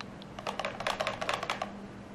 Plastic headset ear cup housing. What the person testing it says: kalau misalnya digoyang-goyangin dia bakal kepentok-pentok suaranya malah kayak motor Supra yang kepal batoknya itu mau copot